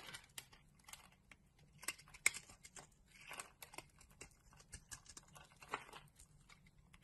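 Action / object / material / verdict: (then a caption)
scrape / bar of soap scraped with a metal blade / soap / none. A palm-sized, solid orange oval bar of soap with raised nubs is scraped and carved with a metal utility blade, and crumbly chips fall away. About fifteen quiet, short, crisp scrapes and cuts come through as bright, dry crackles with almost no ring. One sharper snap stands out near the middle.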